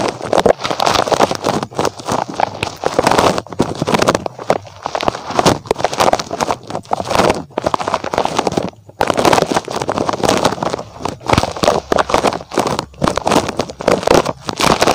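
Fingers scratch and squeeze the rubber spikes of a small, soft, red spiky rubber puffer toy shaped like a rabbit, held close to the microphone. A dense stream of rapid rubbery scratches and squishy rustles fills the midrange around 400 Hz, with little deep bass or high hiss. The sound runs almost continuously, broken only by brief pauses near 4.5 and 9 seconds.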